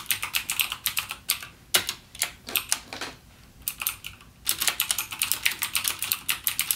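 Fingertips type on a backlit mechanical gaming keyboard with plastic keycaps and clicky Cherry MX Blue switches. Bursts of sharp, bright clicks with almost no low end and very short decay are broken by brief pauses near 1.5 and 3 to 4.5 seconds, then resume in a rapid run to the end.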